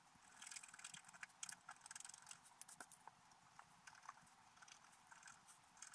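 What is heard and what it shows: A wooden stylus scratches details into a flat, black-coated scratch art paper sheet. The result is a quiet run of short, dry, bright scratching strokes, rough and irregular, with hardly any low end.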